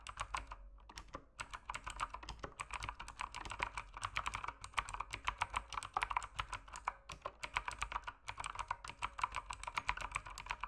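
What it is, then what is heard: Plastic mechanical keyboard. Fingertips type rapidly on a full-size backlit mechanical keyboard with plastic keycaps, resting on a desk in dim lighting. A dense, steady stream of sharp, short clicks and clacks centers around 1 kHz, with bright tops and a faint low hum underneath. Brief pauses break up the bursts of keystrokes.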